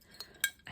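Long nails tap a small fired-clay hand-print Christmas ornament, made at a village hall Christmas party and then fired. Three short, bright taps ring out with a quick clinking, glassy ceramic tone.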